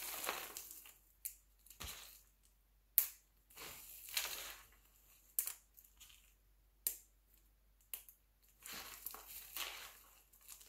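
Fingers crumble and pinch a spread pile of mixed-color glycerin soap shavings, then the hands gather the flakes together. The sound is a series of bright, crisp crunching and crinkling bursts with sharp onsets, separated by brief quiet gaps. There is almost no low end.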